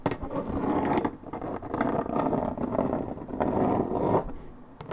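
Long red nails scratch the top side panel of a hollow Minute Maid 1.75 L coated paperboard orange juice carton, fill unknown. The result is a dense, dry scraping rasp centered in the low mids, with brief sharp ticks at the start and end. It comes in three sustained bursts, each separated by a short dip in loudness.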